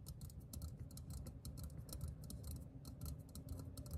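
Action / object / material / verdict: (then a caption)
tap / metal aerosol spray can / metal / none. A hand-sized green metal aerosol deodorant can (Discover), hollow and pressurized, is held in one hand and tapped with the fingertips and nails of the other. Quick, light, bright clicking taps follow one another rapidly and steadily over a soft low rumble, each tick dying away almost at once.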